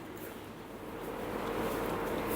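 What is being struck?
Nothing is struck.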